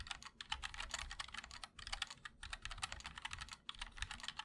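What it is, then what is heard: Mechanical keyboard with ABS keycaps. A MOD-L 60% mechanical keyboard with linear switches, a black aluminum case and white and black ABS keycaps is typed on continuously with the fingertips of both hands. It gives a rapid, dense stream of short, bright clacks with little low end, broken by a few brief pauses.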